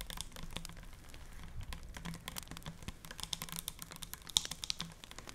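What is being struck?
Full plastic cleanser bottle.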